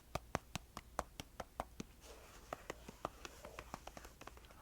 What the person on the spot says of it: there is something kind of satisfying about that deeper more resonant sound of the finger pad tapping